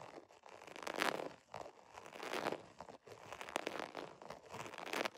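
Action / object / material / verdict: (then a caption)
scrape / embossed vinyl zipper pouch / vinyl / none. Fingernails scratch the embossed scale texture of a holographic vinyl zipper pouch. Dry, crinkly scratching comes in uneven swelling bursts, bright and papery with almost no low end. Short sharp ticks stand out now and then within the rasping.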